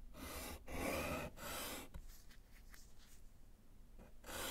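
A gloved hand writes with pink chalk on a small, flat, solid slate chalkboard in a wooden frame, tapping out letters. Long, broadband scratchy strokes rasp across the slate, followed by softer, quieter taps and short scratches, before another loud stroke comes in at the end.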